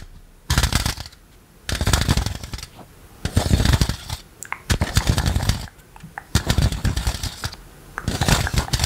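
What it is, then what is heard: Plastic electric fly swatter with metal mesh. A green plastic electric fly-swatter racket with a metal wire mesh is held flat over a microphone while rubber toy hands worn on the fingertips scratch and tap the mesh. Bursts of dense, crackly scratching with a low thumpy body and bright rattling edges alternate with short pauses.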